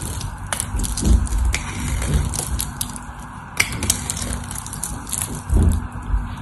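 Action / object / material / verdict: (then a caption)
scrape / bar of soap cut with a knife blade / soap / none. A solid white rectangular bar of dry soap with a stamped logo, held in one hand with long orange nails, has its edge scraped and carved by a utility knife blade as flakes fall off. Short, dry scraping crunches repeat in quick bursts over a low, dense rustle, with brighter crackles on the sharper cuts and almost no ring after each stroke.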